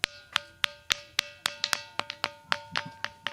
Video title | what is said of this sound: CG : क्या आपने कभी ऐसा पत्थर देखा जो घंटी की तरह बजे ? Sarguja । | जब हम इस पे बजाएंगे तो ये आवाज थोड़ी बदल जाती है